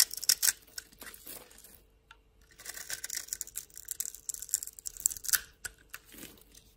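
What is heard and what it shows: A solid rectangular yellow bar of soap held in hand is carved into small cubes and scraped with a metal blade. Dry, bright scratching and crisp crackling cuts come in irregular bursts, with a short pause around the two-second mark. The clip ends with softer scraping.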